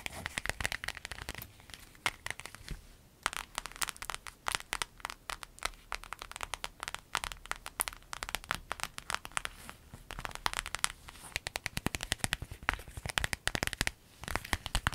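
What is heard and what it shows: A small, empty, folded clear vinyl zip pouch with yellow trim is scratched and tapped with long nails on a dark surface. The result is a dense stream of sharp, bright crinkling crackles and quick clicks with almost no ring, broken by brief quieter lulls around 3 and 14 seconds.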